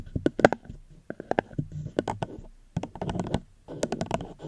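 Gentle fingertip tapping on a plastic cup held close to the microphone. Light, dry, hollow taps come in quick irregular bursts separated by brief pauses. Each tap dies away almost instantly with a muted midrange tone.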